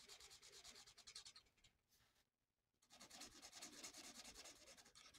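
A felt-tip marker quickly fills in a mandala on a thin, flat paper coloring sheet with dense rubbing strokes. Rapid, bright, scratchy strokes repeat in a steady back-and-forth rhythm, fade to near silence for about a second, then resume just as busily.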